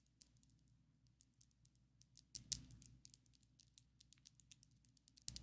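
Long, coffin-shaped, ombre acrylic fake nails on both hands tap their small, hard tips against each other. The result is a quiet, rapid, irregular series of bright, dry clicks with almost no ring. Louder clustered taps come around the middle and again at the very end.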